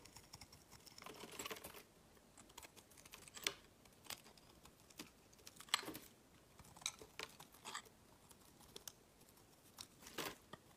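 A small, solid, blue translucent glycerin soap bar is held in the hand and shaved with a utility knife blade, scraping and carving so that flakes fall off. Quiet, crisp, bright scraping strokes and short ticking cuts come in irregular bursts with brief pauses between them.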